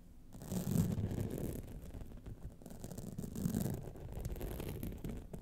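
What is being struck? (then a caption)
Rhinestone-studded clutch wallet. Long nails scratch the sides, top and lower band of a gold rhinestone-studded clutch wallet. The result is a dense, continuous scratching and rasping that sits mostly in the low range with a faint bright hiss, swelling twice before settling at a steady, quiet level.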